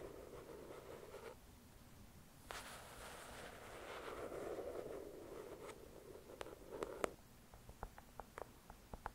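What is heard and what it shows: Long acrylic nails scratch and tap the cover of a thick paperback novel resting on a white cloth. Quiet, muffled scratching and rubbing builds to a fuller scrape in the middle, then about ten short, crisp taps ring out toward the end.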